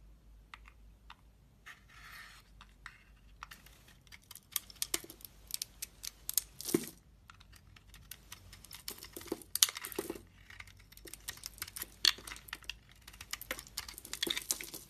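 A utility knife blade carves and scrapes flakes off a solid, palm-sized dry red Dalan soap bar, which has a red outer layer and a white core and is held in fingers with red nails. Irregular, crisp scrapes and short ticking cuts come through quietly and close, with bright, high-pitched crackle and almost no low end. Each stroke ends at once, with no ring.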